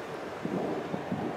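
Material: Nothing is struck.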